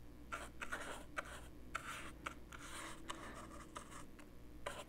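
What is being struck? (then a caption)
Plastic portable cassette player. The bristles and metal ferrule of a paintbrush scratch and rub back and forth over the surface of a small, handheld, dark plastic portable cassette player with a hollow body. The result is quiet, dry, papery scraping strokes in bursts, marked by repeated sharp little ticks and bright, hollow plastic clicks, all over a faint low steady hum.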